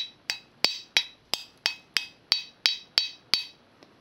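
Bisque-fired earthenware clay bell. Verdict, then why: Hard. A bell made of real earthenware clay and bisque-fired is tapped 10 times at a steady pace, followed by a faint final tick. Each tap gives a dry, hard, high-pitched click that dies away almost at once.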